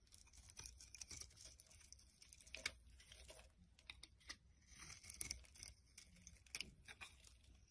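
A metal blade scrapes shavings from a solid rectangular orange bar of soap with a pink core, held in the hand. Quiet, bright, crisp scraping and crackling bursts, much like soft tearing, come in quick uneven strokes with brief peaks. Each stroke stops dry with almost no ring.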